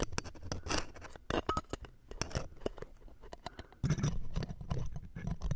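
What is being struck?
Metal mesh microphone grille scraped with tweezers.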